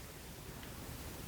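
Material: Nothing is struck.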